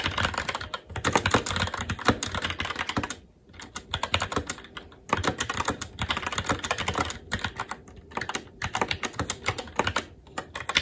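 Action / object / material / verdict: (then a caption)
tap / plastic mechanical keyboard / plastic / none. Fingertips of both hands type continuously on a SteelSeries Apex 7 TKL mechanical keyboard with red linear switches, plastic keycaps and a metal top plate. The result is a dense stream of short, sharp clacks with a bright edge, broken by a brief lull around three to five seconds before the rapid typing resumes.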